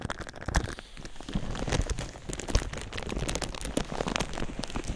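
A thin clear plastic sheet draped over a binaural ear microphone is crinkled and scratched with fingertips and nails. The result is a steady stream of dense crackling and crinkling, with sharp snaps and rustles over a low rumble.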